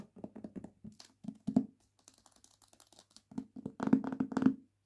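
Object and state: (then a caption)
Hardback book with glossy paper dust jacket. A hardback book with a glossy paper dust jacket, partly lifted from the book, is held in the hands while long nails tap and scratch the jacket. Quick hollow taps in an irregular run give way to a stretch of faint scratching, then a louder cluster of taps with bright crinkly edges.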